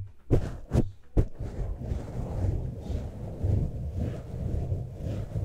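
A hand grips and scratches a black foam windscreen on a standing microphone with fingertips and short nails, then both hands scratch its sides. A few sharp, close thumps open the clip, followed by a steady, dense, low rumbling scratch that swells and fades with no bright edge.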